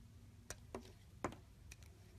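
A solid pale green bar of soap is held in the hand while a pink-handled blade shaves thin curls off it. Four short, crisp scraping cuts stand out over a low background hum, each one quick and bright with almost no ring.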